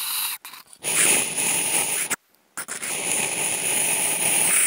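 Two wooden toothpicks scratch across the lid of a large, hollow, empty octagonal white polystyrene foam food container. The result is a bright, hissy, continuous scraping with a thin high squeal running through it. It breaks off briefly near the start and again in a short silent gap in the middle before carrying on steadily to the end.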